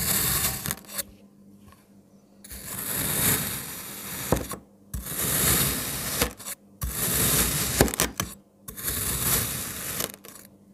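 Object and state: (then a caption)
Kinetic sand block being cut. A black kitchen knife slices and dices a solid red and green kinetic sand block, pushing and cutting the pieces. Bursts of crunchy, granular scraping alternate with short quiet gaps, broken by a few sharp clicks as the blade meets the surface.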